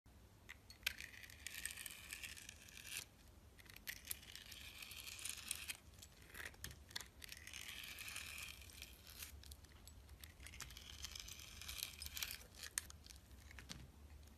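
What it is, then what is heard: Glitter-coated soap bar being shaved. A metal utility knife blade scrapes and shaves strips off the surface of a palm-sized solid oval bar of soap with a purple glitter crust over an orange core, held in one hand. Bright, crackly scraping and tearing rasps come in repeated long passes with brief pauses between them. A faint steady low hum runs underneath throughout.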